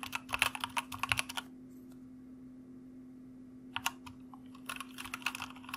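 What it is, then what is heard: Plastic mechanical keyboard. Fingertips of both hands type on a white mechanical computer keyboard with plastic keycaps, producing quick, bright clicking keystrokes over a faint steady low hum. A burst of typing runs for about a second and a half, then comes a quiet pause of about two seconds, and the typing resumes until the end.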